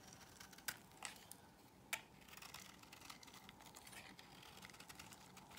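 A solid cream soap bar held in the hand is scored and shaved with a metal blade, the shavings falling onto a pile. Quiet, bright scraping and crinkly cutting ticks run throughout, with three sharper snaps standing out early on before a steadier stretch of shaving.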